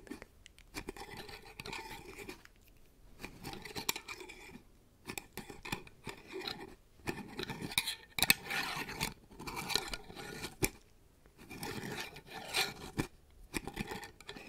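A small, hollow, mason-style glass jar filled with glowing fairy lights is held in one hand and scratched and tapped with long yellow acrylic nails. Bursts of bright, dry scratching alternate with light, quick taps that stop dead, separated by short pauses, all at a soft level.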